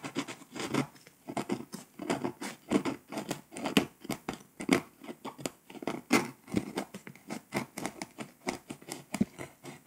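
A pink scraper scratches the foil coating off Poland on a flat, foil-coated paper scratch-off map. It makes a quick run of short, dry scraping strokes, each with a brief rasp centered in the low mids around 350 Hz and a thin bright hiss on top. The strokes die away almost instantly with no ring.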